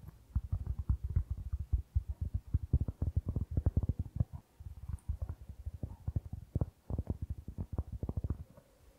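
Fingertips tap and scratch the surface of a round, flat, solid cork board held in both hands close to the microphone. The result is a rapid, uneven stream of dull, deep thumps with almost no high end, each dying away almost instantly, with brief softer scratchy stretches between bursts.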